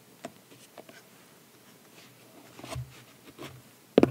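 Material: Cardboard.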